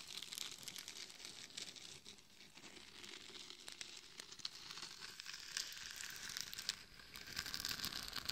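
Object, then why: Glitter-coated plastic mannequin head. Long nails scratch the sides and top of a hollow mannequin head microphone coated in gold and red glitter. The result is a continuous dry, gritty scraping and crinkling with bright, high hiss and quick irregular crackles, growing slightly louder toward the end.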